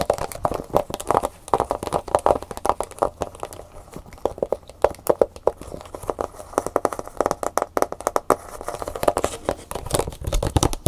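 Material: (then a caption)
Plastic. Fingernails rapidly tap and scratch the hollow clear plastic bubble of a plastic blister pack with a cardboard insert, held in both hands, over the flash drive inside. Dozens of quick, dry, hollow clicks with a midrange tone sound over a soft scratching rustle, each dying out almost instantly with no ring.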